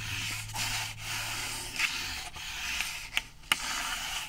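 A flat, rectangular brown cardboard sheet, held in the hands and moved from the side toward the camera, is scratched with fingertips and nails. A steady, bright, dry rasping runs throughout, centered around 2.9 kHz. Two sharp clicks stand out near the end.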